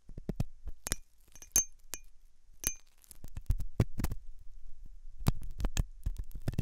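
A hooked metal dental tool scratches inside the ear canal of a white translucent silicone ear, likely mounted on a binaural ear microphone. Soft scraping and rubbing sounds mix with sharp, bright metallic clicks and clinks as the metal tool taps and drags against the soft solid rubber.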